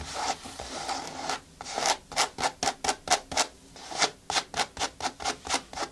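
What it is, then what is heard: Synthetic sneaker upper being scratched. Long nails scratch and rub across the synthetic upper of a single blue children's sneaker with a foam sole, hollow and empty, resting on a table. A continuous dry rubbing opens the clip, then gives way to a series of quick, separate scratching strokes. Each stroke has a bright, hissy texture over a papery midrange and dies away almost at once.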